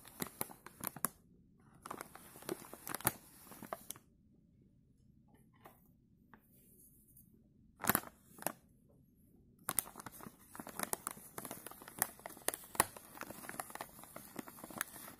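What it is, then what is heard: Plastic chip bag. Gloved fingertips scratch and squeeze the film of a filled green plastic chip bag, producing sharp, bright crinkles and crackles. The crinkling runs for about four seconds, then falls to near silence with a couple of isolated crackles around the eight-second mark. Dense, continuous scratching and crinkling then resumes from about ten seconds to the end.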